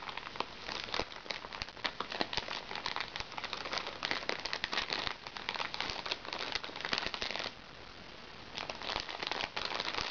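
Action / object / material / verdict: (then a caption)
scrape / plastic-film makeup bag / plastic film / none. A small, flat, hollow makeup bag made of crinkly recycled plastic sachet film rests on a lap while long nails scratch it and fingertips press it. Dense, bright crinkling and crackling runs steadily through the clip. It drops to a quiet hush around the 7.5-second mark, then resumes for the last couple of seconds.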